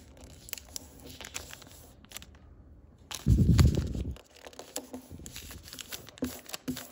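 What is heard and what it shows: A sheet of thick printed origami paper, folded into a narrow diamond shape, is creased and pressed against a table with fingertips, then held in both hands and rubbed with a crinkly action. Soft, scattered crackles and rustles give way to a brief near-silence, then a loud, dense, low rumbling crinkle for about a second. Quieter crinkling follows, ending with a couple of sharper, brighter snaps.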